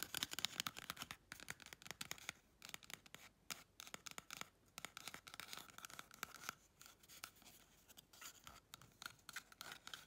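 Long red chrome nails rapidly scratch and tap the outer surface of a small, hollow, empty brown cardboard toilet paper tube. The result is a quiet, fast stream of dry, bright scratches and crisp taps with almost no low end, each one dying away instantly.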